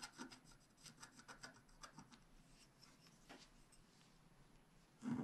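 A wooden stylus scratches fine hatching lines into a black scratch art sheet on a table, working near the unicorn's mane and the sheet's left edge. Short, soft, raspy scratches repeat quickly at first, then thin into a quiet, steady rubbing. A louder, fuller scrape closes the clip.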